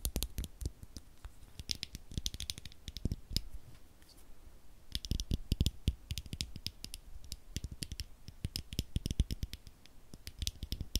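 A single small rectangular Duracell 9V battery with a metal casing and snap terminals is held in the fingers while fingernails tap and scratch the casing and terminals. It makes a quiet, rapid stream of dry clicks and scratchy ticks with bright edges and soft low thumps. Each tap stops almost at once, with no ringing.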